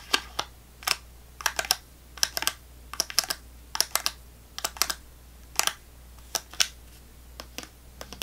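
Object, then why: Small plastic snack cup with fruit pieces. Long fingernails tap the bottom of a small clear plastic snack cup full of orange fruit pieces, held upside down. Sharp, bright, clicky taps come in quick irregular clusters with short pauses between them, each click dying away almost instantly over a faint steady background hum.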